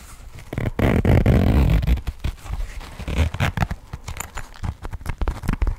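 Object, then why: Coated-fabric cosmetic pouch with metal zipper. A small pink floral coated-fabric cosmetic pouch with a metal zipper is tapped with fingernails while the zipper is handled. A loud, low rasping scrape fills the first two seconds, followed by a quick, uneven run of dull, muffled taps and clicks that fade fast.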